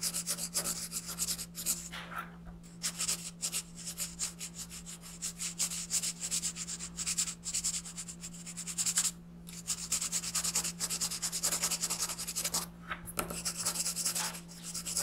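A green wooden colored pencil rubs broad shading strokes across an alien's face on a paper coloring page lying flat on a desk. Dense, rapid, bright scratchy rubbing fills the clip, with brief pauses between passes, over a steady low hum.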